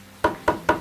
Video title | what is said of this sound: Korean Heritage: The Art of Hanok Window-Making by Master Sim Yong-sik | これが打ち込まれると中に当たったという合図が来ます